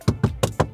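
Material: Plastic.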